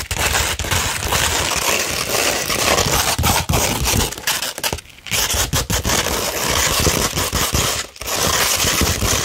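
Long, pointed, red-painted fingernails on both hands scratch a thin, flat sheet of fine tan 240-grit sandpaper. The result is a dense, continuous, gritty rasping with a bright, crackly texture, broken by brief pauses around the 5- and 8-second marks.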